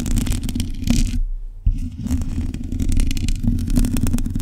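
Long nails scratch and tap a black metal mesh microphone grille, making a dense, low-heavy rumbling scrape flecked with bright crackles. The scratching drops to near silence for a moment, then a sharp tap starts it again, and the scraping continues steadily to the end.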